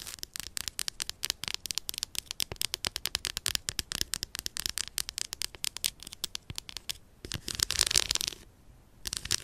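Long purple stiletto nails tap and scratch the segmented surface of a solid, unwrapped milk chocolate bar lying on fur. A rapid, dense stream of sharp, bright clicks and crackling taps is heard, with little low end. Near the end the taps blur into a louder scratching rasp, then pause briefly before the clicking resumes.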